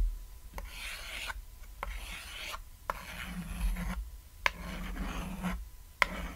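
A white chalk stick draws wavy lines across a flat, solid, cat-shaped painted chalkboard, making dry, rasping scratches. The strokes come in repeated bursts separated by short pauses, and some begin with a sharp tick as the chalk meets the board. A faint low hum runs underneath.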